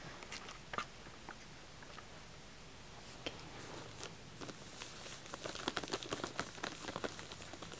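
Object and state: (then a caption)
Shrink-wrapped pack of wax tealights. Fingertips and nails scratch and tap the shrink-wrapped plastic film over a full pack of solid white wax tealights in aluminum cups with a black paper label. Quiet, bright crinkles and short dry ticks come sparsely at first, then grow denser and louder toward the end.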